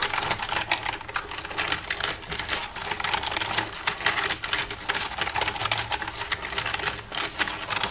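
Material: Plastic.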